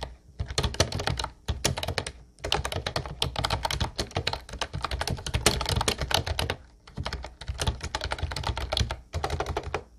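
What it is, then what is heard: Plastic round-key keyboard being typed on. Both hands type with their fingertips on an Ubotie light blue plastic retro keyboard with round white keycaps, producing rapid bursts of clicky, clattering keystrokes with a low thunk beneath the bright clicks. The bursts run steadily and are broken by a few short pauses.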